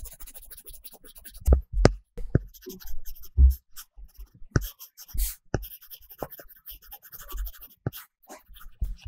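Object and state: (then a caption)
Tablet screen with paper-texture film under a stylus. A plastic stylus tip makes short strokes and taps on a large iPad glass screen covered with a solid matte paper-texture film while coloring small areas. Dry, scratchy strokes and quick tapping thuds come in irregular bursts, with most of the energy low and no ringing after each contact.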